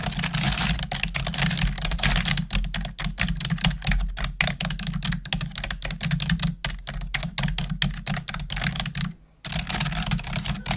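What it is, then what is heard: Plastic computer keyboard being typed on. Long nails and fingertips type on a black plastic desktop keyboard, at times pressing keys with one finger. A rapid, steady stream of short, bright plastic clicks and taps rides over a constant low hum. The typing pauses briefly near the end before resuming.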